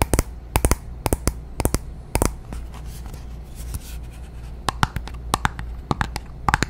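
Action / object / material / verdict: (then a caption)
tap / small glass bottle of liquid foundation with a metal cap / glass / none. Long nails tap and scratch a small glass foundation bottle filled with beige liquid and topped with a silver cap, held in the hand. Bursts of sharp, bright clicks come in quick clusters, with a soft, steady scratching texture and a low hum filling the gaps between them.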